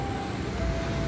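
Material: Nothing is struck.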